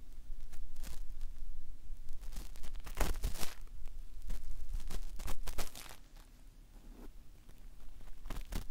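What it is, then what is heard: Vinyl toy doll head. A cotton swab held in the fingertips is rubbed and scratched lightly over the face near the eye of a hollow, hand-sized molded vinyl/plastic Woody toy doll head. Soft, dry scratching and rustling strokes come in quick irregular bursts with a faint low rumble underneath, and the strokes grow quieter and sparser toward the end.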